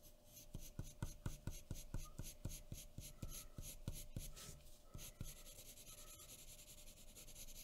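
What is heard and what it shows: A graphite pencil tip scratches steadily over a thin sheet of white drawing paper resting on a wooden table while shading a face. Quick, evenly spaced strokes make dry, rasping scratches, each with a soft low thump from the table and a bright papery hiss. In the last few seconds the strokes blur into a smoother, continuous rub.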